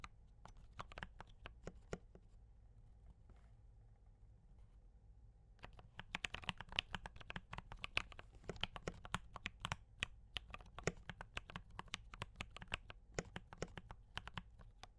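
Fingertips of both hands type on a D84 mechanical keyboard with brown switches and cream and red plastic keycaps, producing short, bright clacks. A few scattered keystrokes come first, then a near-quiet pause with a steady low hum underneath. From about six seconds, fast, dense typing continues to the end.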